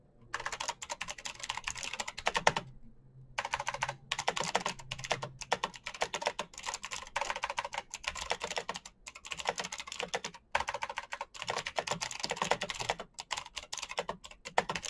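Fingertips type fast on a black plastic mechanical keyboard with backlit keycaps, producing a dense stream of sharp, bright clicks and clacks. The typing runs in quick bursts, separated by brief pauses.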